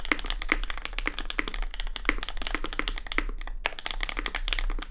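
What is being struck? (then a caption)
Mechanical keyboard with plastic keycaps and aluminium plate. Fingertip typing with both hands on a compact red custom Cloudline mechanical keyboard with lubed SP Star Sacramento switches, plastic keycaps and an aluminium plate. It produces a steady, rapid stream of short, crisp clacks with a bright click near 2 kHz, over a constant low hum. A brief pause breaks the stream just before the end.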